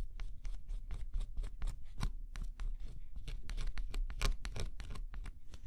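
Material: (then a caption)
Cardboard. A thin scraper stylus scratches the black scratch-off coating on a flat cardboard jigsaw puzzle, revealing the colour underneath. Quick, dry scraping strokes follow one another in a steady rhythm, each a short, bright rasp, over a constant low rumble.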